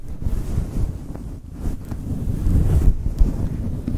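Long chrome nails and fingertips rub and scratch a soft, hand-sized, grey-white fluffy faux fur windscreen covering a microphone. The result is a continuous, muffled, low rumbling scrape, like wind buffeting, with almost no bright content and a few slightly louder swells.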